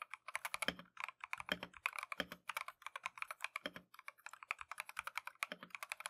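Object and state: Mechanical keyboard with plastic keycaps.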